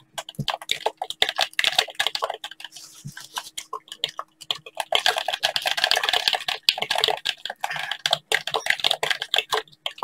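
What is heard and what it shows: Gloved fingertips in blue latex gloves tap a hollow black handheld plastic game controller and click its buttons. Rapid, dense bright clicks and taps, with a faint rubbing of the gloves underneath, fill the clip and ease off in a quieter stretch near the middle before picking up again.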